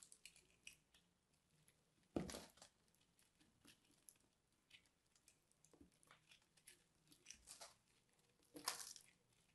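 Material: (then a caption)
Soap. A small dark blade scrapes and crunches through a dry, solid, crumbly purple and white soap ball coated in starch, held in the hand. Soft, crisp scraping crackles patter along quietly, broken by two louder, brighter crunching bursts near the start and end.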